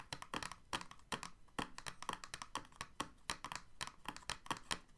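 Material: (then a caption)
Plastic. Fingertips and nails quickly tap and scratch across an empty, clear, thin moulded plastic blister tray with hollow ridges, like typing. The result is a rapid, uneven run of short, crisp, hollow plastic clicks, bright with a slight low knock, each dying away almost at once.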